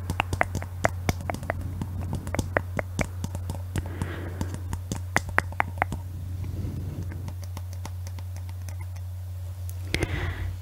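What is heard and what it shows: A clear hollow glass Christmas bauble with a glittery base and "Paris" lettering is held in both hands and tapped with long nails. The result is a rapid run of short, sharp clicking taps with a light glassy ring. A few soft scratchy rustles come through around the middle and the end, all over a steady low hum.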